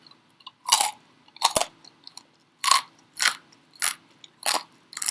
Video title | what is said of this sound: Air fryer tip: How to make pork belly | i'm going to let you hear how crispy it is